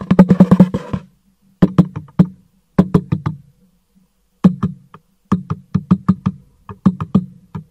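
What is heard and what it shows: A black cardboard product box, held upright in one hand, is tapped on its side with the fingertips of the other hand. The result is quick bursts of short, dry, hollow knocks with a low resonance near 184 Hz, separated by brief pauses.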